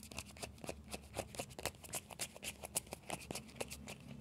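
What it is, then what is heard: Hollow plastic ball. Fingertips and nails scratch and tap the shell of a small hollow orange plastic ball with a yellow stripe. The result is a quiet, quick, irregular patter of dry, bright clicks and scratchy ticks that stop instantly, over a faint steady low hum.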